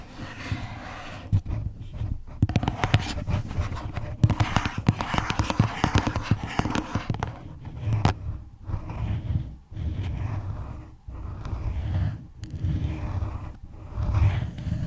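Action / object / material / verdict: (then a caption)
tap / small cardboard box / cardboard / none. Long nails tap and scratch the sides of a small, hollow red floral cardboard gift box held in both hands. Quick, dull, hollow taps with a low boom ring out over a steady scratchy rustle. Short pauses break the sound, and it comes out mostly low and muffled with little brightness.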